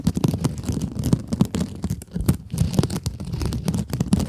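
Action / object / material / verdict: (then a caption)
scrape / mesh-covered scrub sponge / nylon mesh / none. Long acrylic nails scratch a small pink scrub sponge with a glittery mesh cover, held close to the microphones. It gives a dense run of rapid, crackly, scratchy strokes with a muffled, low-heavy body and brief dry transients that stop almost instantly.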